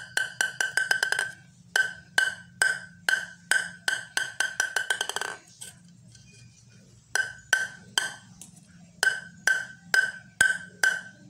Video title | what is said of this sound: review yinhe M101 (mars 101) | suaranya kelihatan banget ya. Kalau ini kayunya keras, nyaring.